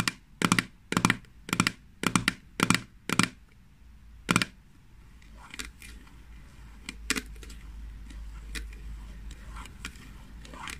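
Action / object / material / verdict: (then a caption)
tap / small plastic jar lid / plastic / none. Long fingernails tap the lid of a small green plastic jar of hand cream held in the hands, giving seven sharp, dry plastic clicks at a steady pace. After that they scratch the lid, making a quieter, continuous rasp with a few scattered lighter clicks.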